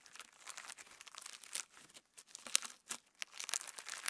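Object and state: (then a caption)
Clear slime with plastic star sequins. A lump of clear slime with plastic star sequins is squeezed and pulled apart by fingertips close up. It gives a quiet run of bright crinkling, crackling and sticky tearing sounds with sharp little clicks and no low end.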